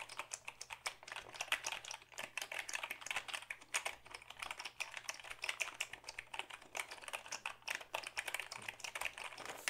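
A black Dell keyboard of hollow plastic is held up and typed on with the fingertips. Quick, steady runs of light, bright plastic clicks and taps follow one another with almost no low end. Each keystroke dies away almost instantly.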